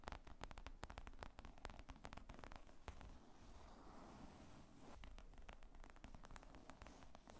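Long acrylic nails tap and scratch the top of a black faux leather laptop briefcase with zippers, padded and hollow, lying flat on a wooden table. Rapid, dull, low thuds with short bright clicks alternate with a softer stretch of continuous scratchy rustling in the middle, and the sound stays quiet and close throughout.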